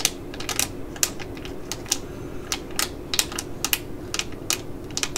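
A small, full, black laminated foil eye-patch pouch is held in the hands and scratched and tapped with long nails. A rapid string of sharp, bright clicks and crinkles sounds over a low, steady rustle, each tick dying away almost at once.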